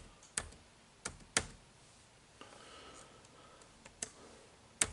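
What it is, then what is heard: Plastic laptop keyboard being typed on. Fingertips type on the dark plastic keys of an HP laptop keyboard, producing five short, bright clicks spaced unevenly across the clip. Each keystroke snaps and dies away almost at once, with faint softer key sounds and a low, quiet background between them.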